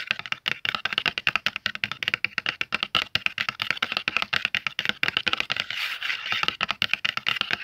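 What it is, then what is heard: Cardboard box, hollow. Fingertips and nails tap quickly on the front of a closed, medium-sized, hollow red cardboard Faber-Castell oil pastel box, then tap and rub its back after it is flipped over. The result is a rapid, steady run of dry, bright clicks with almost no ring, with a brief softer, more continuous scratchy rubbing passage near the end.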